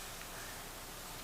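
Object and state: Nothing is struck.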